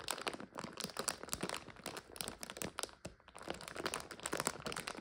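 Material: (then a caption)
Plastic. A full clear plastic bag of dry egg noodles resting on a couch is scratched with long nails and pressed down with the palms, crunching the dry noodles inside. Dense, bright crinkling and crisp crunches come in quick bursts, with a short lull around the three-second mark before the crinkling picks up again.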